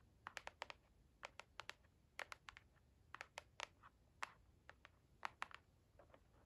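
A hollow white cardboard product box with printed lettering, held in the hand, is tapped and scratched with long acrylic nails and fingertips. About twenty-two quick, dry, bright clicks come in irregular clusters, each dying away almost at once, with faint scratching between them.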